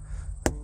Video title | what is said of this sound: Tire Inspection Walkthrough | Very different sound, way softer hitting this one.